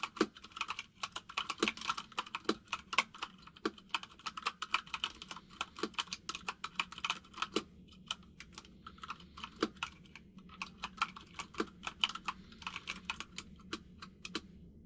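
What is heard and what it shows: Both hands type rapidly with the fingertips on a white full-size mechanical keyboard with plastic keycaps resting on a desk. The result is a steady stream of short, bright, clacky key taps with almost no low end, broken by a brief lull partway through.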